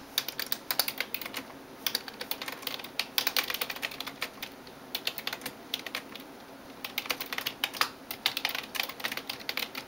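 A hand types rapidly on a backlit plastic computer keyboard with fingertips and nails. The result is a dense run of bright, sharp clicks with almost no low end, coming in quick bursts separated by brief pauses. Each tap stops dead with no ring.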